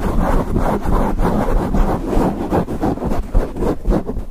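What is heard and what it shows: Fingertips and nails of both hands scratch and rub a grey foam windscreen on a microphone. The result is a fast, continuous, muffled scratching and rubbing with a heavy low rumble and little bright content.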